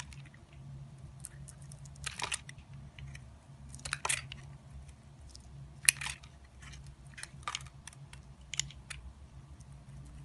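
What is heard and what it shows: An orange-handled utility knife carves and scrapes a solid white bar of soap with a yellow inlay, held in the hand. Crisp, bright crunching scrapes come in irregular bursts of varying strength over a low, steady background hum.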